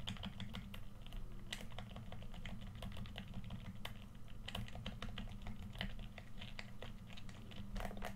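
A hollow red plastic PS4 controller is held in both hands while fingertips tap and click its face buttons and d-pad. Rapid, dry plastic clicks with bright, short attacks sit over a steady low hum.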